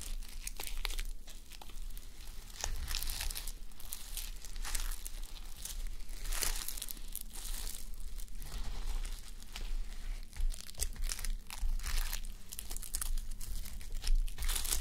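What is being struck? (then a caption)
Fabric sleep mask covered in plastic sequins. Fingernails scratch across and flip the plastic reversible sequins covering a fabric sleep mask worn on a white mannequin head. The result is a steady stream of dense, bright crinkling and scraping over a constant low hum, with quick flurries of sharp sequin clicks throughout.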